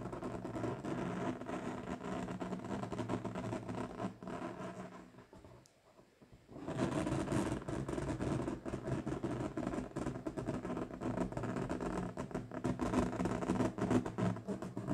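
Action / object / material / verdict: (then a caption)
scrape / inflated latex balloon / latex / none. Long pointed nails tap and scratch the side of an inflated, hollow, air-filled bright pink latex balloon held over a table. The result is a dense, fast stream of dull, rubbery taps and squeaky scrapes with a strong low, resonant body. The sound fades to near silence for about a second midway, then resumes just as busily.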